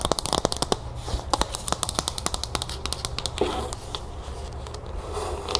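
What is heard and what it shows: Long acrylic nails scratch and tap the outer side of a small, hollow teal plastic bowl partly filled with puffed cereal, while the bowl is held and tilted. Rapid, sharp plastic clicks and taps come in quick bursts, mixed with a dry, crackly scratching rustle and the faint shifting of cereal inside.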